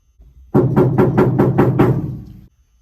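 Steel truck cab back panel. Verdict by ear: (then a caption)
Undamped. Seven taps on the bare steel back panel of a truck cab, before butyl sound deadener is installed, give resonant knocks. The panel rings like a steel door being beaten, with a tone near 370 Hz that carries between hits and trails off for about a second after the last.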